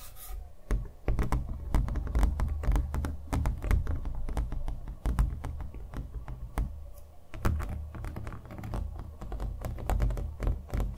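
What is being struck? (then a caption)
Painted stretched canvas on a wooden frame. A small stretched canvas on a wooden stretcher frame, hollow behind and covered in thick acrylic paint with a green centre, is held up in both hands and tapped with fingernails on the painted surface. Quick, irregular bursts of short, dull, low thuds with clicky fingernail edges follow each other almost continuously, each dying away instantly. The tone is deep and muffled, with almost nothing bright.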